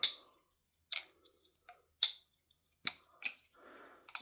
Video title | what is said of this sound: LDY Balisong (Frank-P Review) | just the tolerances on this are good. Well, as good as a plastic Balisong can get